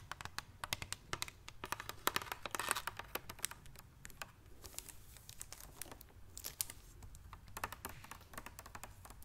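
Long dark-painted fingernails tap and click on a large clear plastic Levissima mineral water bottle with a green cap, partly filled with water and held in one hand. Many quick, sharp, bright clicks with faint crinkling come in uneven bursts over a low steady hum, busiest around the second and seventh seconds.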